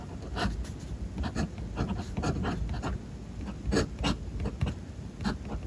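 The metal nib of a Platinum #3776 fountain pen is drawn across thin white paper in a spiral-bound notebook lying flat on a desk as Japanese lyrics are written out. A light, continuous scratching is heard, broken by short, brighter stroke onsets over a soft low background hum.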